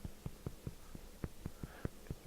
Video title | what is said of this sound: Day 64: Cook with Luc-Making & Baking Wild Rice Bread (Successfully). | a bit of a hollow sound that means it's done